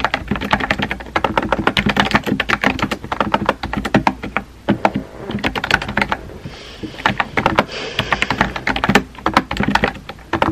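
Fingertips with painted nails type rapidly on a compact, hollow-bodied pink plastic mechanical keyboard with round white-and-pink typewriter-style keycaps, resting on a desk. Quick, sharp clacky taps come in dense bursts, each dying away almost at once. A brief lull falls around the middle before the typing picks up again.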